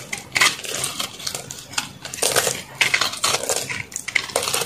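A metal knife blade shaves and carves a solid white reshaped soap block held in one hand, scraping off crunchy chunks. A rapid run of bright, dry crunching and scraping bursts follows one after another with almost no low end and no ringing.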